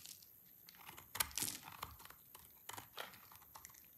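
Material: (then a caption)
Soap. A black knife blade shaves thin curls off the edge of a solid, partly carved bar of dry orange soap held in the hands. The result is a series of quiet, dry, crisp scraping and crunching cuts, with bright, hissy texture and a brief, sharper crunch near the middle.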